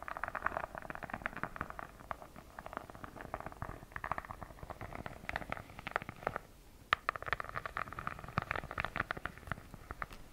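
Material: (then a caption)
Faux leather. Long nails scratch the textured cover of a purple faux-leather notebook held in both hands, making a dense run of quick, dry scrapes centered in the midrange around 1.2 kHz. The scratching pauses briefly just before the seventh second, then resumes with a few sharper strokes.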